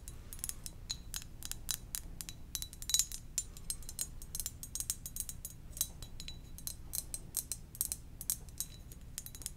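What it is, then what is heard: Ceramic mug. Gentle, rapid tapping on a ceramic donut-shaped mug makes a steady stream of light, bright clicks. Each tap has a faint high ring that dies away almost at once. A soft, low hum runs underneath throughout.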